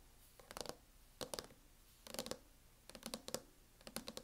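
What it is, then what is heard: Plastic hard-shell laptop case. Long fingernails tap on the lid of a closed MacBook fitted with a teal matte plastic hard-shell case. Short, dry, clicky taps come in quick bursts of a few strokes each, separated by brief quiet pauses. Each tap is bright and dies away almost instantly, with a faint hollow plastic body beneath.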